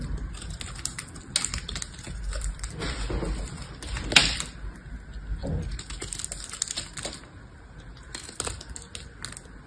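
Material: Soap.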